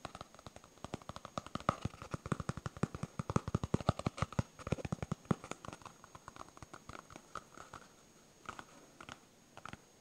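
A solid yellow smiley-face polyurethane foam stress ball is tapped and scratched with the fingertips and nails of both hands. The result is a rapid, crackling patter of short, dull taps with little ring. The taps are dense for the first six seconds, then thin out to scattered, softer taps.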